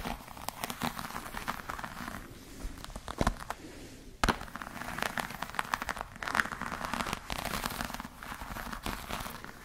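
A black glossy croc-embossed patent leather clutch bag is scratched with long nails across its textured surface. The result is a steady run of dense, crackly scratching with short, dry clicks that die away at once, plus a few sharper snaps. The sound is mostly in the mid and upper range, with a little low rumble.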